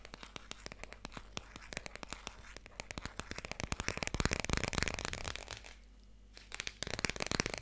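Fingers tap rapidly on the hardcover of the children's book "Dikkie Dik," producing dry, sharp, clicky taps with almost no ring, in an uneven flurry over a faint low hum. The tapping grows louder and denser toward the middle, pauses briefly into a softer scratchy patch, then returns as quick bright taps.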